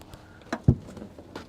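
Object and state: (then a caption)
Hollow car floor over a hidden compartment. A hand knocks on the floor panel of a car seized in a drug bust, giving short, dull, low thumps with a hollow quality and little ring. The hollow sound is not normal for a car floor and reveals a hidden compartment, or trap, that had been loaded with kilos of drugs.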